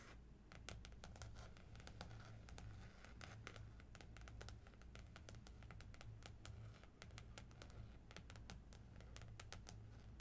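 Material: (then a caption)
Plastic. Long nails on both hands tap and scratch across the glossy plastic floral cover of a small spiral notebook lying flat on a blue cloth. Quick, crisp clicks and scratchy strokes come in dense bursts, each dying away almost at once, over a steady low hum. The whole clip stays quiet and close.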